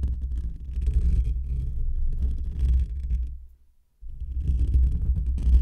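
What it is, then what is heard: Metal mesh microphone grille being scratched. Fingertips and short nails of both hands scratch and rub the hollow, rounded black metal wire-mesh grille of a desktop condenser microphone. A dense, deep rumbling and thudding texture fills the low end, with faint scratchy hiss on top. It fades to near silence just before the four-second mark, then resumes just as loud.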